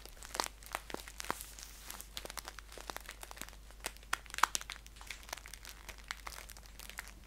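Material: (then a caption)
Paper. Fingernails tap and scratch the front and top fold of a green paper tea pouch held upright. The result is a quiet, rapid stream of dry, crisp paper crinkles and sharp clicks with bright edges, over a faint steady low hum.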